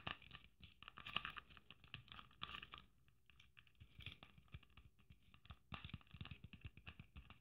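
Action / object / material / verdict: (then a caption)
tap / sequin-covered Christmas ornament with braid trim / sequins / none. Long nails tap and scratch quickly over a red sequin Christmas ornament trimmed with gold braid. The result is a soft, dense stream of crisp clicks and scratchy rustles with a bright edge and faint low thumps. The sound eases into lighter scratching for a moment, then returns to busier tapping.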